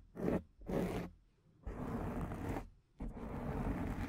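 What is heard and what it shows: Long dark painted nails on both hands scratch and rub a large, rounded, soft, porous black foam windscreen on a microphone. Four raspy, zipper-like bursts of scraping are heard: two short strokes, then two longer sustained rubs, heavy in low, muffled rumble with little brightness.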